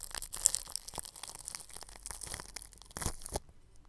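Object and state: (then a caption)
Plastic cling film over a microphone, brushed. A bristle paintbrush rubs clear plastic cling film stretched over a round microphone's grille. The result is a dense, bright crinkling and scratchy crackle, with louder swishing bursts early on and again near the end before it falls quiet.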